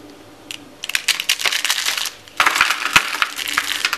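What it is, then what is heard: Dry soap shavings. Thin shavings and flakes of blue and white marbled dry soap are squeezed and crushed in both fists and handled in cupped palms with red-painted nails. Dense, dry, bright crunching and crackling comes in bursts, with a brief lull near the middle before a louder stretch of crushing.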